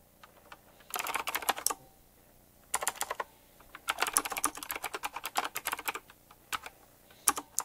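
Fingertips tap the round plastic, metal-rimmed keycaps of a retro typewriter-style mechanical keyboard while typing fast. Rapid bursts of sharp, bright, clicky keystrokes with almost no low end come in flurries separated by brief quiet pauses. Each click stops almost instantly.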